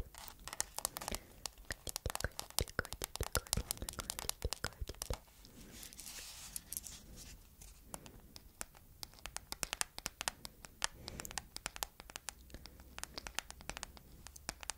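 A hard plastic phone case printed with a cat illustration, with a strap bearing a 'CAT' label, mounted on a phone, is tapped and scratched with long flame-painted nails. Dense, rapid clicks and crisp scratches come in quick flurries, bright and dry with almost no ring, and ease briefly around the middle before picking up again.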